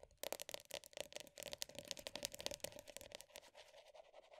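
Long nails rapidly tap and scratch the black lid of a medium round plastic body butter tub, working over both the top and the rim. The sound is a quiet, dense run of bright, dry clicks mixed with scratchy scraping, with no ringing after each tap.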